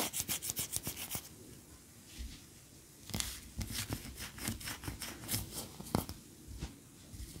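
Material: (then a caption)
Wax. Long nails scratch and rub a large cream solid wax pillar candle lying on its side on a towel. A fast run of bright, dry scratching strokes gives way to a soft, quiet rubbing lull. Then come more irregular scratches and scrapes with short, crisp attacks and little ring.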